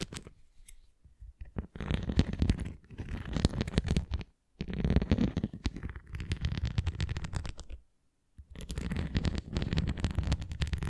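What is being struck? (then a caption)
Plastic flying disc rim. Long nails tap and scratch along the rim edge of a red plastic flying disc toy held flat. The result is dense, low, rumbling scratching with quick tapping, arriving in long bursts separated by brief silent pauses.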